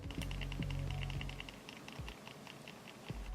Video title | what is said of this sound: Sensor Rattle: Not Just A Logitech G303 Problem | It sounds like there's a rattle in this one too.